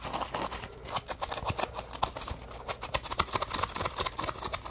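A yellow Scrub Daddy puppy sponge, made of textured polymer foam with smiley cut-outs, is held in one hand while fingertips scratch and tap its rough surface. The result is a quick, uneven stream of soft, dry, bright scratching ticks that stop almost instantly, with little low end.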